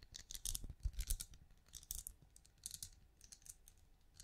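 Long nails tap and scratch the bumps of a small hollow glowing night lamp with a ridged translucent plastic-like shell, held up close to the mic. Quick, dry, clicky taps come in uneven bursts, with bright crisp ticks over soft low thumps and light scraping between them.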